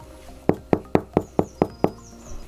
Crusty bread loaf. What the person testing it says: Si ça sonne creux, c'est que c'est bon. Ça sonne creux.